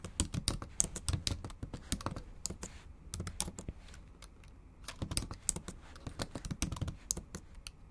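Long acrylic nails type and tap on the plastic low-profile keys of a bare, backlit MacBook Pro keyboard set in an aluminum body. Rapid, uneven bursts of sharp, bright clicks with soft low thumps underneath dominate. Typing slows to a quieter stretch around the middle before picking back up in quick, clattering runs.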